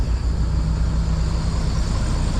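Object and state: Nothing is struck.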